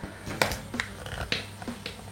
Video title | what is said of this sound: REVIEW SHFIGUARTS KAMEN RIDER G3-X JADUL TAPI MANTUL | dia menggunakan ada unsur besinya di bagian telapak kakinya